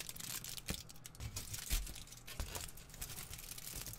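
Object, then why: Thin aluminium foil crumpled in the hand. A hand-sized piece of thin, crumpled aluminium foil is squeezed and crinkled between the fingers near the microphone. It makes a dense, continuous crackling and crinkling with bright high rustle and soft low thumps, punctuated by sharper, louder crunches.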